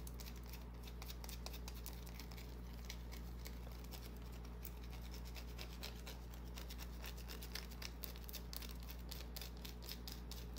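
A small solid white bar of soap is held in the hand while long nails scratch and tap across it. Quick, bright scratchy clicks patter over a steady low hum. The sound stays quiet and fairly even throughout.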